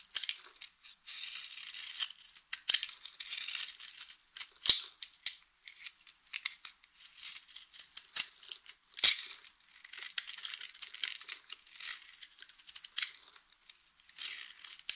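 A utility knife blade scrapes and shaves flakes from a solid, hand-sized, rectangular bar of dry white soap held in the hand. The result is a dense run of bright, crisp, crumbly scraping and crackling with short, sharp snaps scattered throughout.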